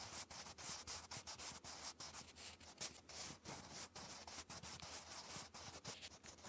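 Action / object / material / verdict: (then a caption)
scrape / graphite pencil on paper page / paper / none. A sharpened wooden pencil writes cursive on a textured, lined notebook paper page, its graphite rubbing and scratching across the paper. The result is a steady, bright, hissy scratching broken by brief pauses between strokes, with very little low end.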